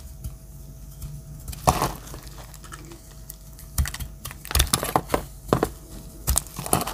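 A metal utility-knife blade chips and cuts small dry pieces off a pale yellow solid soap bar. Sharp, dry, crisp clicks and scrapes come in irregular bursts over a low steady hum, with each chip dying away almost instantly.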